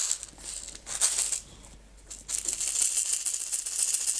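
A small clear plastic jar with a white screw lid, partly filled with small blue-green decorative stones, is held in hands with long red nails and shaken so the stones rattle inside. Bright, hissy rattling bursts come in quick shakes, fade to a quiet lull in the middle, then return as steady, continuous shaking.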